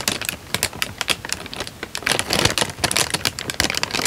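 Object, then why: Thin paper sheet. A thin light-brown paper sheet is held in both hands while fingertips wave, flex and crinkle it. The result is a dense run of sharp, bright crackles and rustles, with louder bursts coming in uneven waves.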